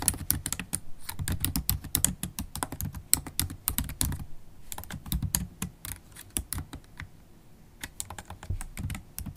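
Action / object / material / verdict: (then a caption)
tap / plastic laptop keyboard / plastic / none. Long holographic acrylic nails and fingertips type fast and continuously on a MacBook Pro keyboard with black plastic keys set in an aluminium body. The result is a dense stream of short, dry clicks with bright, sharp nail taps over soft low key thuds. There are brief lulls around the middle and near the end.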